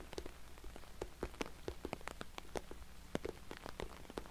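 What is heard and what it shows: Fingernails tap rapidly on an orange glossy patent vinyl cosmetic bag, making a quick, uneven patter of short, dry clicks that sounds like rain on a surface. Each tap has a brief bright tick over a soft low hum underneath.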